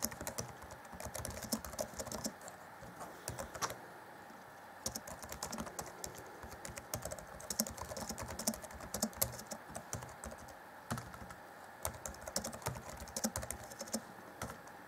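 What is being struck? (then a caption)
Plastic laptop keyboard. Both hands type fast on the black plastic chiclet keys of a 2014 Acer Chromebook C20 laptop keyboard, fingertips tapping the keys. Dense, rapid, bright clicks and tapping sounds run throughout, each one short and dry, with a few brief lulls between bursts.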